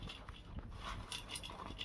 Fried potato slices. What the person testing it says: মুচমুচে কেমন মচমচে শব্দ হচ্ছে না